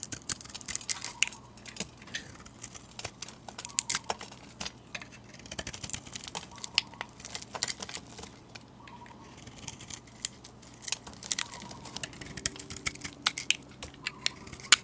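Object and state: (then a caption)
Marbled soap bar being scraped. A metal blade scrapes curled shavings off a solid, hand-sized oval soap bar with a green marbled glitter surface and pink interior. Dense, crisp, bright scraping crackles and sharp ticks run throughout at a quiet level, with little low end beneath them.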